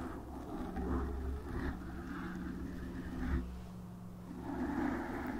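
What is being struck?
Foam microphone windscreen.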